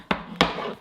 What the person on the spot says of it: Sounds hollow when I tap it.